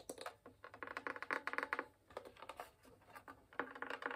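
Dark-painted fingernails and fingertips tap the top near the fingerboard of a full-size, upright-held wooden violin with a hollow, varnished spruce and maple body. Quick, irregular bursts of short, dry, hollow knocks and clicks come with brief pauses between clusters. Each tap resonates in the midrange and dies away almost instantly.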